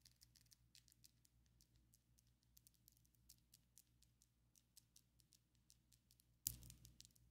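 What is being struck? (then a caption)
Long acrylic fingernails. Long coffin-shaped ombre acrylic fake nails on both hands tap against each other, making quiet, rapid, keyboard-like clicks with bright, very short transients over a low steady hum. Near the end, a louder, sharper burst of clicking stands out.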